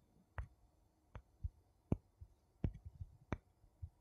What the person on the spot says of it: 01:12 Two wooden spoons tapping